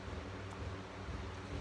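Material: Nothing is struck.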